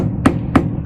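A hammer bangs three times on plywood wall sheathing while searching for studs, giving short hollow knocks with a low tone around 260 Hz and almost no ring. The hollow sound means this section has only plywood with no stud behind it.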